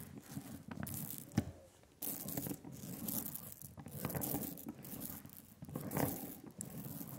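A rubber brayer rolls thick, sticky black printing ink out on a glass slab, up close. Bursts of tacky, crackling peeling noise rise and fade as the roller passes back and forth, with a bright hiss over a low rumble.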